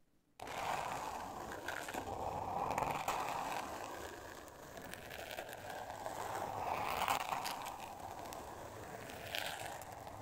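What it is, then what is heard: Glitter paper covered board scratched. Long nails scratch and tap across a flat, thin, solid pink board covered in glitter-textured paper. The result is a steady, gritty rasp with a bright, hissy edge that swells and fades as the strokes change.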